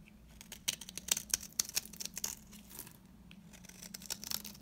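A metal cutter blade scrapes curls from the surface of a solid, dry, round green soap bar held in the hand. The sound is a rapid series of short, crisp, bright scraping and crackling strokes with very little low end. It speeds up and gets louder in the first half, eases off for a moment, then picks back up toward the end.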